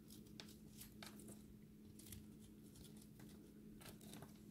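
A solid, dry recycled soap ball with an orange ring and a blue center is shaved with a utility-knife blade. Short, bright, crumbly scraping bursts come one after another over a faint, steady low hum. The sound stays quiet throughout.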